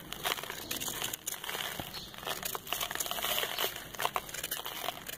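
A compacted brown sand ball held in the hand is scraped with a metal knife over paper. The result is a steady, bright, crumbly crinkling and crunching, with rapid small grainy bursts that rise and fall throughout.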